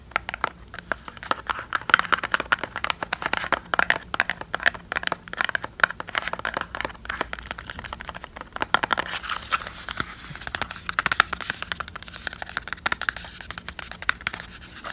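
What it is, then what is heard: Cardboard cosmetic box. A small, hollow, printed cardboard cosmetic product box is held in the hands and tapped and scratched with long painted fingernails. It gives a dense, continuous stream of quick, dry clicks and crinkly scratches that are bright and papery, centered in the upper mids with almost no low end. Each tap dies away instantly.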